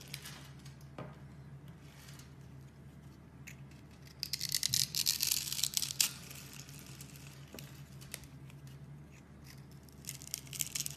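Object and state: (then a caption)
Bar soap being shaved. A metal box-cutter blade scrapes and shaves the surface of a mint-green solid bar of soap held in a hand with long red nails, and small soap curls fall off. Soft, bright scraping and crinkly shaving sounds repeat steadily, rising to louder, denser shaving in the middle before easing back to quiet strokes, with a low steady hum underneath.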